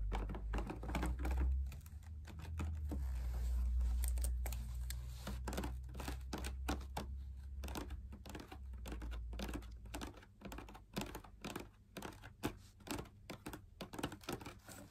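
A hollow, perforated, fabric-laminated drum lamp shade is held in both hands while fingers tap and scratch its wall. Quick, dull, low-heavy taps come about four per second in an uneven rhythm, mixed with soft scratching and crinkling. Each tap dies away almost at once.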